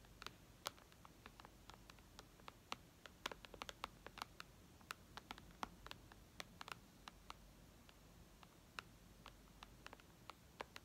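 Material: Glass.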